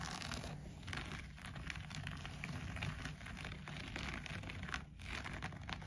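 Fingertips and nails scratch and rub the pile of a shaggy green-grey looped-pile textile bath mat lying flat on the floor, beside an untouched wooden bead garland. The result is a steady, dense crinkling rustle with bright scratchy detail over a soft low rumble.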